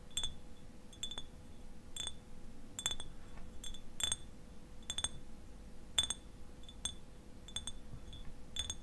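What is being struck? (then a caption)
Glass eyewash bottle, partly filled. Fingernails tap the bottom and sides of a clear glass eyewash bottle, partly filled with liquid and held tilted on its side. The taps are short, bright glassy clinks with a clear ring near 3.5 kHz that fades almost at once. They come in scattered single and paired ticks over a low, steady background rumble and a faint hum.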